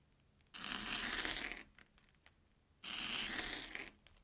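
A steel kitchen knife slices through an airy Banana Kick corn puff stick resting on an orange plastic board. Two separate passes each give about a second of bright, dry crackling and crunching, with a short quiet gap of small crumbly ticks between them.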